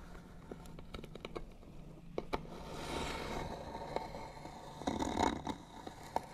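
Fingernails scratch the lid of a hollow white wooden box with bead trim. Quick, sharp scratchy ticks come first, then longer, louder scraping swells around the middle and again near the end, over a faint low hum.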